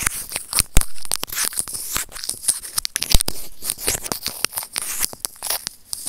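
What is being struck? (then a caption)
Small plastic earphone mic remote scraped with plastic tweezers. A small, hollow, white plastic earphone mic remote is rubbed and scratched with white plastic serrated tweezers. It makes close, dry scratching and crinkly tearing sounds, broken by many sharp clicks and pops. The clicks come unevenly across the clip and carry a bright, hissy top.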